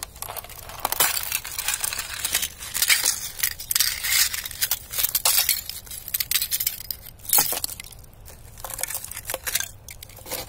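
A knit-gloved hand presses and crushes thin, clear ice plates and shards lying on dirt and grass. The result is a dense, irregular run of bright, glassy crackles, snaps and clinks, with little low end and short, quickly fading ring.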